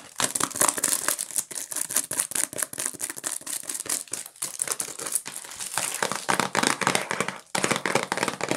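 A medium-sized, hollow Q-tips cotton swab cardboard box wrapped in cellophane is turned in the hands while long nails tap and scratch its wrapped sides. The result is a dense, bright stream of quick, irregular crinkling taps and scratchy rustles, with a brief dip near the end before the crinkling resumes.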